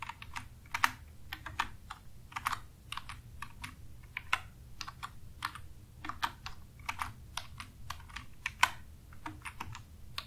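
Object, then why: Plastic computer keyboard. Fingertips of both hands type continuously on a black full-size plastic computer keyboard with a hollow housing and plastic keys, resting on a desk. The quick, bright key taps clack in an uneven rhythm, with a few louder strokes, over a steady low hum.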